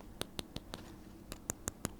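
The front part of a Soviet camera is tapped to show that it is made of metal rather than plastic. Eight short, sharp clinks sound in two groups of four, each dying away almost instantly.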